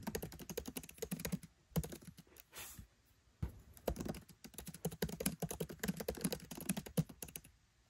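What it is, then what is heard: Laptop keyboard, plastic keys typed. Fingertips type rapid taps on a MacBook Pro 13 keyboard, its black plastic keycaps set in an aluminium body. The clicks are short, dry and thocky, mostly low with little bright ring. A brief soft hiss and a short pause come near the middle before the quick typing resumes.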